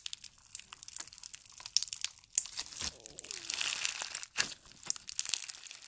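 A large mass of pale pink slime thick with foam beads and sparse glitter is stretched and squeezed with the fingers of both hands. It gives a dense run of bright, sharp crackling crunches with almost no low end, swelling into a louder crinkling stretch in the middle before settling back into scattered pops.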